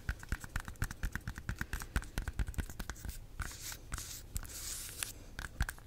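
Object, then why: Bunch of bananas with the peel on. Long nails tap and scratch the peel of a bunch of ripe bananas. A quick, steady series of short, dull taps with a soft low thump gives way midway to brighter, hissy scratching across the skin, then the tapping returns. The sound is close and quiet, and each tap dies away almost instantly.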